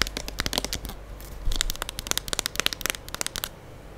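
Long acrylic nails tap and scratch the body of a full gold plastic liquid soap pump bottle held close to the microphone. A rapid, irregular run of sharp, bright clicks and brief scratches sits over a faint low rumble. The taps stop dead with no ring.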